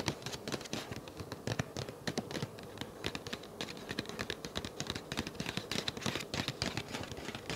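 Fingertips and nails tap and scratch the surface of a flat, empty-looking, hand-sized dark grey paper envelope held up near the face. A dense run of quick, dry papery taps and scratchy rustles with bright crisp edges continues steadily throughout, each tap dying away almost instantly.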